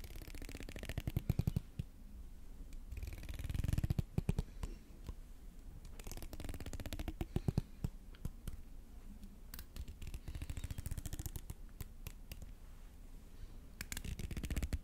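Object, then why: Plastic hair comb. A fingertip runs across and plucks the fine teeth of a solid grey plastic hair comb held up close to the microphone. Rapid runs of dry, soft clicks and ticks come in bursts, with brief sharper plucks between the quieter stretches. The sound is muffled and bass-heavy, and each tick dies away almost at once.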